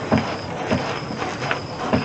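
A 2000 Dodge Durango is rocked side to side at its rear quarter panel, producing repeated dull, low clunks as the body sways. The loose clunk is traced to the back of the vehicle, with no specific part identified.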